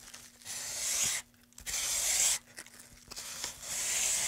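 A solid, light pine wood moulding board is held in gloved hands while its surface and edge are rubbed with sandpaper. Three sustained, bright, hissy sanding strokes are heard, separated by quieter scratchy pauses, over a faint steady low hum.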